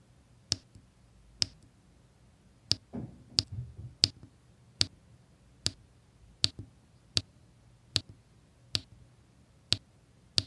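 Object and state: Resin diamond-painting drills tapped onto adhesive canvas.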